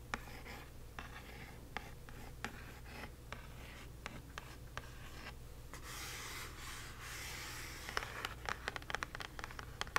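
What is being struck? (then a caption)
Kraft cardboard box. Long nails scratch and trace across the printed face of a small, hollow "Magic Delivered" kraft cardboard box, making soft, dry scraping with sharp, brief clicks over a steady low hum. Near the end, several nails tap along the bottom of the box in a quick run of short, bright taps.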